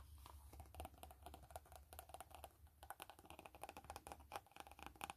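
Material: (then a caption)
Faux leather. Long fingernails tap and scratch the front of a hollow black saffiano-textured faux-leather glasses case with a blue band, the case lifted slightly by hand. Quick, dry clicking taps with a hollow knock mix with brief scratchy rasps, each tap dying away almost at once over a steady low hum.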